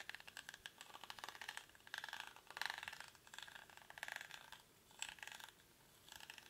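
Fingertips and nails scratch and rub the weave of a hollow, cylindrical woven rattan or reed basket held in both hands. The result is quiet, dry, crackly scratching in bright bursts with almost no low end, rising and fading in short irregular passes.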